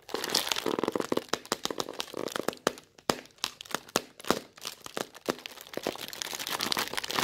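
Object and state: Thin plastic bag.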